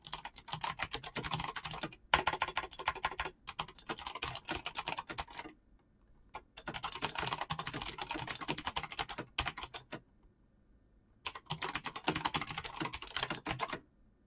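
Fast fingertip typing on a black mechanical keyboard with clicky switches and PBT plastic keycaps. Dense, bright, crisp key clicks come in three long bursts separated by short pauses.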